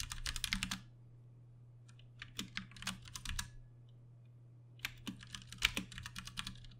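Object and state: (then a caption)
Plastic mechanical keyboard. Both hands type with their fingertips on a Ducky One 2 Mini, a compact 60% RGB-backlit mechanical keyboard with plastic keycaps and Cherry MX Brown switches, resting on a desk. Bursts of quick, bright, clacky keystrokes are separated by short pauses, with a low steady hum underneath.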